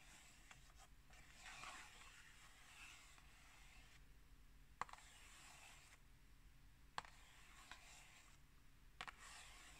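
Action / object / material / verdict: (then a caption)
scrape / cardboard tea box / cardboard / none. Long nails scratch softly across a small, hollow, rectangular printed cardboard tea box held in the hand, with a few sharp, scattered taps on its surface. The sounds are quiet, dry and brief, with no ringing.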